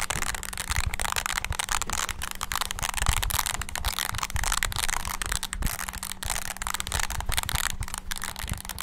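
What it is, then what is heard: Plastic mini wireless keyboard. Thumbs rapidly press the rubber keys of a small, hollow, black handheld plastic mini wireless keyboard. The result is a dense, continuous patter of quick clicks and taps with a low thumpy body and a bright clatter on top. A faint steady low hum runs underneath throughout.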